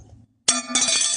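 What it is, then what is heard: Metal courtesy card clinking. A metal PBA courtesy card clinks twice, giving two bright, thin metallic taps with short ringing and little low end, after a quiet low hum. The clink marks it as a metal card, and it is judged to sound cheap, like tin rather than gold.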